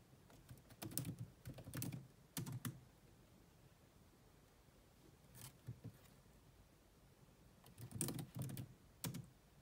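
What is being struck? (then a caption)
Plastic laptop keyboard. Rapid tapping on a grey laptop's dark plastic chiclet keys with long manicured nails and fingertips, the hollow plastic body giving each keystroke a low, dull knock with a bright click on top. The typing comes in quick bursts separated by short quiet pauses.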